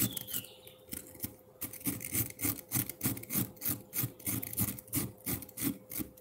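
A metal fork scrapes a solid block of frozen milk ice in a bowl, over and over in a rasping motion. The result is a steady train of gritty, scratchy strokes with bright, icy crackle on top and soft low thuds beneath. A faint constant tone hums underneath throughout.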